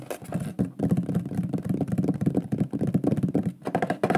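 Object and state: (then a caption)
Wooden plaque. Fingertips and nails tap quickly across the face of a large, flat, shield-shaped solid wooden board with a lion burned into it by pyrography. The result is a dense run of short, dry, woody knocks with a low hollow tone and almost no ring.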